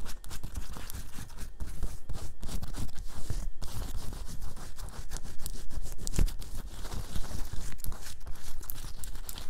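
Long acrylic nails on both hands scratch quickly across a black cotton t-shirt with a large rubbery printed bear graphic, worn on the chest. The result is a steady, dense stream of bright, dry scratching and rasping with no pauses, plus soft low rubbing from the fabric.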